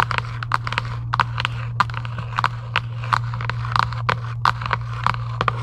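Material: Cardboard.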